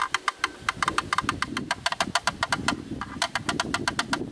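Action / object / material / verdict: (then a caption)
tap / plastic camera lens hood / plastic / none. A black, rectangular, hollow plastic camera lens hood is held in the hands with its front side toward the camera and tapped and knocked rapidly on its inner edge with a thin bamboo stick. About 28 sharp, dry, hollow clicks ring out with a bright, woody tone centered around 1.2 kHz, each dying away almost instantly over a soft low rustle.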